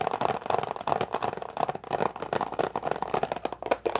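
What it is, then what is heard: Plastic water bottle. An empty, crumpled, hollow clear plastic water bottle is held in both hands, squeezed and tapped with fingers and nails. It gives a rapid, continuous run of short, crisp crinkles and taps with a hollow mid-range tone. Each click is dry and stops almost at once.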